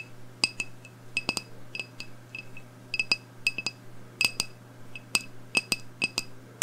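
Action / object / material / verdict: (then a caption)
tap / glass candle jar filled with wax / glass / none. Long blue nails tap on a medium black glass candle jar with a round label, held in one hand, with a lit candle burning inside and the jar filled with wax. Quick, irregular bright clinks ring near 2.6 kHz and fade almost instantly, over a faint steady low hum.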